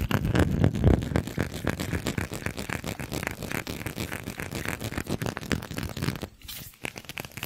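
A small, textured, faceted glass perfume bottle with a gold cap is tapped and scratched with fingernails close to the microphone. It makes a rapid, uneven stream of short clicks and scratchy rasps with a soft, close low thump and almost no ring. The sound is loudest at the start, settles to a softer steady patter, and briefly drops out near the end before a few more light taps.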